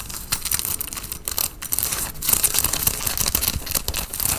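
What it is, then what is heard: Cotton fleece sweatshirt. Fingernails scratch the collar and chest of a worn grey Nike cotton fleece sweatshirt. The result is a dense, bright, rasping scratch with a soft low rumble underneath, rising and falling in quick uneven bursts throughout.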